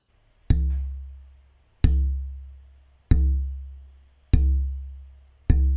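The left half of a German spruce oud soundboard pair, about 6 mm thick with a knot, is held loosely and tapped five times. Each tap gives a low, dull tone around C that fades out over about a second. The wood vibrates little at this thickness.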